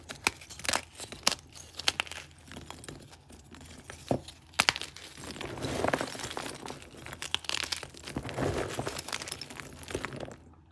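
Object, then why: Gym chalk chunks. Fingertips and thumbs press down on a pile of broken, solid, green-dyed gym chalk chunks, crushing and breaking the pieces. Sharp, bright crunching snaps alternate with stretches of softer, gritty crumbling. The chalk crumbles apart into smaller fragments and powder.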